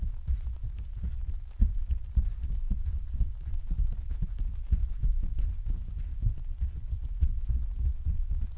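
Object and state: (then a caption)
Plastic vinyl umbrella canopy. Several hands tap and pat the thin, hollow canopy of an open, translucent white plastic vinyl umbrella on a stand with their fingertips. The result is a dense, continuous patter of soft, low, dull thumps with almost no ring, like rain drumming on the canopy.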